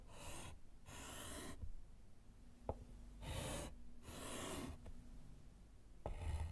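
A gloved hand writes letters with a small piece of white chalk on a small, flat, solid wood-framed slate chalkboard. Bursts of bright, breathy scratching come as the chalk drags across the slate, broken by two sharp taps as it strikes the board, all over a faint low hum.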